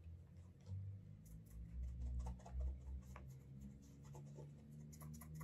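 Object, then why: Leather shoe toe cap rubbed with cloth. A cloth wrapped over the fingers rubs the toe cap of a brown leather Alden Straight Tip Blucher cap-toe shoe in small circles to build a wax burnish. Soft, scratchy rubbing strokes repeat unevenly over a steady low hum, with faint brushy swishes on top.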